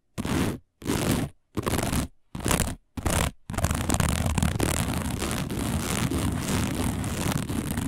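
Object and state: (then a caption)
Woven fiber placemat. Long nails of both hands scratch fast across a round, dark, coiled woven fiber placemat. Five separate bursts of dry, rustling scraping come first, then the scratching runs on continuously, with a low rumbling body and a bright, raspy hiss on top.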